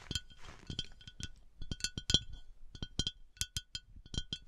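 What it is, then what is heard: Glass decanter. A glass bath oil decanter is tapped in a quick, uneven series of bright, high-pitched clinks centered around 3 kHz. Each tap rings only briefly, with soft quiet gaps between them.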